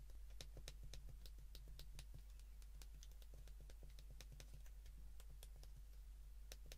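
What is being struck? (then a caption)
Plastic flip phone keypad. A white plastic flip phone is held in the hands while its keypad buttons are pressed repeatedly with the thumb and fingertips. The result is a quiet, steady run of short, crisp plastic clicks with a bright edge, heard over a constant low hum.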